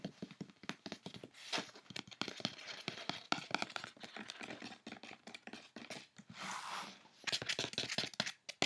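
Fingertips and long nails tap rapidly on the top of a closed brown corrugated cardboard box with a Mango print and a label, then scratch along its side panel. Quick, dry, bright clicks are heard in dense bursts, broken by longer rasping scrapes around the middle and end.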